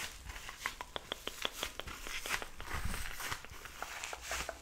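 A small, palm-sized yellow foam kitchen sponge block, soft and porous, is squeezed and rubbed with fingertips and nails. It gives a rapid series of short, crisp crinkling squeaks and clicks centred around 3.4 kHz with bright high edges, each dying away almost instantly. A soft, steady low rumble sits underneath.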